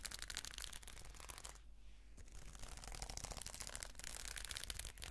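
Long nails scratch and brush the plastic sequins on the fabric cover of a red sequin notebook held upright, making a dense, bright, crackling rustle of rapid tiny clicks. Partway through, the scratching briefly softens into a quieter, smoother brush before the sharp clicking picks up again at a steady low level.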